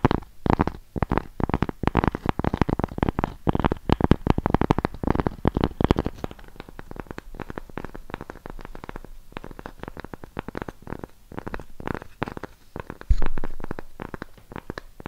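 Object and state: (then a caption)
Cork coaster. A thin, solid, round cork coaster with a raised rim is held in the hands and scratched and tapped with long pink acrylic nails. Dense, rapid, dry clicks and scratches fill the first six seconds, then thin out into softer, sparser taps, with a brief louder scratchy burst near the end. The sound is muffled and low-heavy with no ring.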